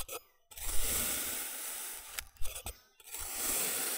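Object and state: Kinetic sand being sliced.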